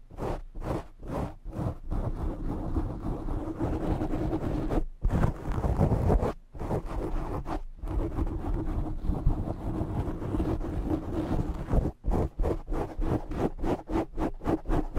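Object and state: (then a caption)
Foam microphone windscreen being scratched. Both hands scratch the sides and top of a black foam windscreen on a condenser microphone with short fingernails. The result is a deep, boomy, low-heavy rustling and thumping. Quick rhythmic bursts at the start and end frame a denser stretch of continuous scratching in the middle.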